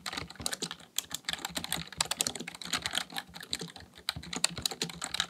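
Fingertips type continuously on the keys of a full-size black plastic computer keyboard. The result is a rapid, steady stream of short, bright plastic clicks and taps that stop dead with no ring, with only a faint low thump under each keystroke.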